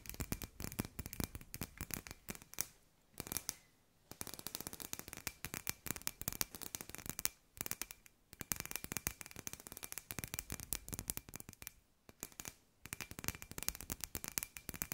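Long nails tap rapidly on a hand-sized hollow glass sphere with fairy lights inside, making a dense stream of sharp, bright clicks with very short decay. A faint steady tone sits around 2.5 kHz, and the tapping pauses briefly near 3–4 s, 7.5 s, 8.3 s and 12–12.8 s.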